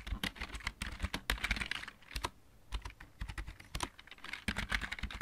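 A full-size, backlit plastic computer keyboard with mechanical keys is typed on with the fingertips of both hands. Quick runs of sharp, clicky keystrokes with a low thump under each press come in bursts separated by brief pauses. Each click dies away almost at once.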